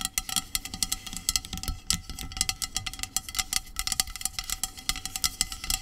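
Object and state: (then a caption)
Aluminium aerosol can, tapped and scratched with nails. Long acrylic nails tap and scratch along a hollow, medium aluminum dry shampoo aerosol can lying on a blanket. A rapid, uneven stream of bright, crisp clicks and scraping ticks comes through, each dying away almost instantly over a faint metallic ring.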